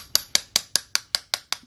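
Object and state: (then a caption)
Cast iron snap ring seated and sealed in its groove. A cast iron snap ring is tapped nine times at a steady pace into its tapered groove in a Toyota CT26 turbocharger housing during reassembly, so it tightens itself. Each tap is a sharp, bright, high-pitched metallic tick with almost no ring. The ring ends up sealed and seated.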